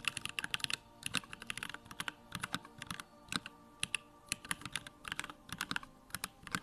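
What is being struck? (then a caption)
Plastic mechanical keyboard. Fingertips type rapidly on a small 65% Bakeneko65 mechanical keyboard with Durock lavender switches, a plastic case and pink-white plastic keycaps, resting on a wooden desk. Quick bursts of short, bright clacks land in uneven runs with brief pauses, each click dying out almost instantly. The clacks carry little low end and center around 2.7 kHz.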